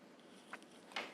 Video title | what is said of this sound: Measurement of Blood Pressure - Physiology Online Practical Tutorial - Calicut Medical College | Now check for the diaphragm of the chest piece. If the diaphragm is on, by tapping on the diaphragm, you can hear a tapping sound.